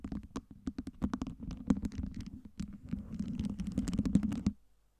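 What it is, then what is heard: Acrylic fake ice cube tower. Long nails on both hands tap and scratch over a tower of small, solid, colour-lit acrylic LED fake ice cubes stacked on a round base. The result is a dense, fast run of short, dry clicks and scrapes over a steady low body around 200 Hz. The sound stops abruptly near the end, leaving a brief near-silence before a final soft burst.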